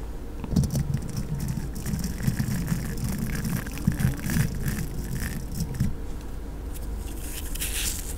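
A thin makeup brush is drawn across the hollow metal wire-mesh grille of a silver desktop condenser microphone, brushing and scratching it. The result is a steady, close, low-heavy rustling rumble with soft swishing strokes and scattered bright crackles and scratches throughout.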